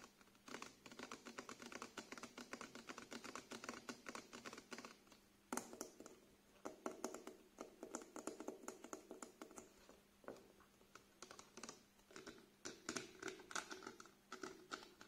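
Fingernails tap and scratch on the label and body of a small clear plastic cleanser bottle with liquid inside and a white cap, held horizontally. Quick, dry, clicking taps come in dense, rapid bursts with short pauses between them. Soft scratching runs underneath, along with a faint steady low hum.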